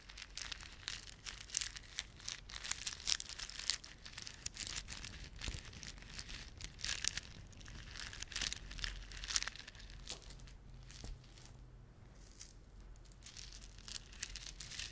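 A plastic beaded ornament is rubbed and squeezed by fingertips, giving dense, bright crinkling and clicking with many sharp, short ticks. The clicks come in rapid bursts for the first ten seconds, then thin out to sparser, quieter ticks before picking up again near the end.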